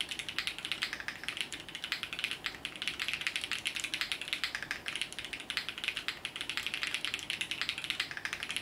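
A compact Sunset 80 mechanical keyboard with multicolored plastic keycaps, resting on a felt desk mat, is typed on steadily with the fingertips of both hands. It produces a rapid, continuous stream of short, bright plastic clacks centered around 2.4 kHz, each dying away almost instantly, with very little low end.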